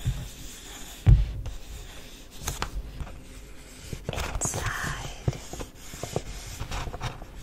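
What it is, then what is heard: Kraft paper bag. Fingertips and long nails lightly tap and rub the surface of a folded brown and green printed kraft paper gift bag held upright. Soft, dull taps, one noticeably louder near the start, mix with quiet papery scratching and rustling throughout.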